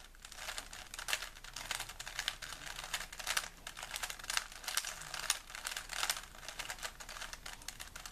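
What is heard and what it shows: A small solid plastic 3x3 Rubik's cube is held in both hands while fingertips rapidly twist its layers. Quick, dense bursts of bright plastic clicking and rubbing run throughout, mostly high-pitched with little low end and a quiet overall level.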